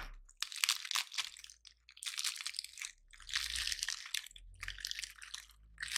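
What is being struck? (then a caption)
Painted pine cone. Fingers squeeze and crush a palm-sized, gold-painted dry pine cone, breaking its scales off. Bursts of dense, bright crunching and crackling come with short pauses between, with almost no low end and each snap dying away instantly.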